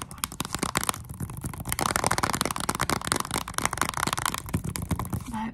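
Long acrylic nails tap and scratch the front cover of a Nintendo Switch game case, a small, hollow plastic box with a shiny clear plastic sleeve. Rapid, sharp plastic clicks overlap with dry, bright scratching and crinkly rustling of the sleeve, and each tap dies away almost at once.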